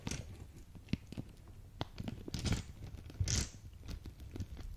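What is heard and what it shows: A small clear plastic zip bag filled with faceted pink acrylic gems is held in front of a microphone and squeezed and crinkled with fingertips and long dark nails, shifting the gems inside. Soft crinkling and crunching comes in irregular bursts, broken by sharp little clicks and ticks. Two louder rustling swells carry a bright, hissy edge.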